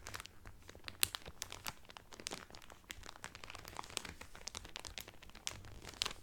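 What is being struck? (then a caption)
Cellophane-wrapped cotton towel. Fingertips and nails crinkle the clear cellophane wrapper around a blue Carnival cotton towel folded flat. A steady stream of dry, bright crackles and rustles is heard, with a few sharper snaps standing out. Each crackle dies instantly, leaving a quiet, crisp, papery texture throughout.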